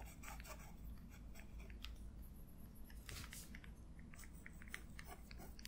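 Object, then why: Metal pen nib on paper. A black feather quill pen nib scratches across the page of an open paper sketchbook lying flat, tracing an ink loop. Short, dry, scratchy strokes come in quick bursts over a steady low background hum.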